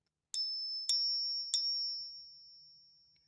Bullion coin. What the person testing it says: it does resonate more than the silver eagle the real one um but the tone is what we're really looking for and that is way higher than it should be